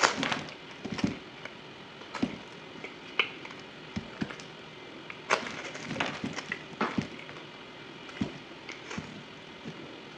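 A solid white bar of soap is carved with a yellow utility knife at double speed, dry shavings falling onto a table. The clip is a quick series of short, sharp, crackly scraping and cutting sounds with bright, dry edges and almost no ring, set against a quiet background.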